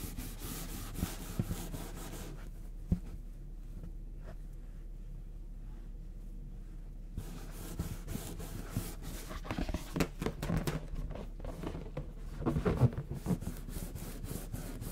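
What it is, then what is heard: Latex balloon rubbed. Fingertips rub and scratch the surface of a medium orange latex balloon, inflated with air and hollow, held in one hand. Soft, low rubbing and scratching sounds start the clip, fade to near-quiet in the middle, then return as denser, sharper scratches and squeaky rubs toward the end.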